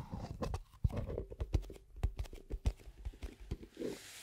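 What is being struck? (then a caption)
Plastic cosmetic cream jar. A small, hollow, round plastic cosmetic cream jar with a black lid and a white-and-red label is tapped with long acrylic nails on its lid and sides. The result is a loose, irregular run of short, hollow, dull clip-clop taps, deep and low, each dying away almost instantly.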